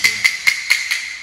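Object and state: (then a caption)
Hollow (debonded) floor tile. A ceramic floor tile, marked with an orange sticker during a house defect inspection, is tapped five times, each tap giving a short, bright, hollow click with a sharp peak near 2 kHz that dies away quickly. The loud hollow sound marks the tile as poorly bonded.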